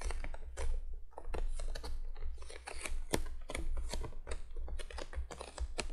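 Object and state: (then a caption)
Cardboard box tapped with fingernails. Long fingernails on both hands tap quickly across the top of a printed cardboard box lying flat. The result is a dense, uneven patter of short, dry clicks that ring bright and die away almost at once, over a steady low hum.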